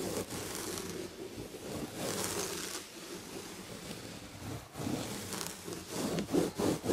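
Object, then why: Padded chair back with textured fabric upholstery. Long red nails scratch the textured red and gold fabric upholstery on a padded chair back. The sound is a steady, dry scratching rasp with a bright hiss that rises and falls in uneven strokes, growing louder and choppier toward the end.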